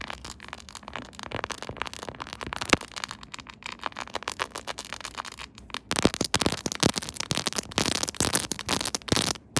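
Long nails tap and scratch quickly across a silver, chrome-finish quilted plastic phone case on a smartphone held in a tripod holder. The result is dense, bright crackling clicks and scrapes. Around the six-second mark the sound turns louder and sharper.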